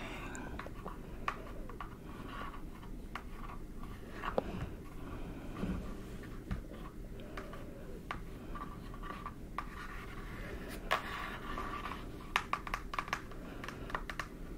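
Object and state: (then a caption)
Cardboard eyeshadow palette. Very long press-on nails tap on the closed, flat, book-sized eyeshadow palette with a printed teal cardboard cover. Quiet, short, dry clicks and taps are scattered irregularly over a soft low background hush, with a few sharper taps standing out.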